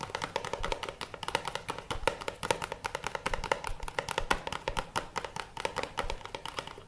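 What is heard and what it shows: A small, hollow, teal printed cardboard box is held in both hands and rapidly tapped and scratched with fingertips and nails. The result is a steady stream of quick, dry, hollow taps with a boxy tone around 500 Hz, mixed with bright scratchy rasps. Each tap dies away almost instantly.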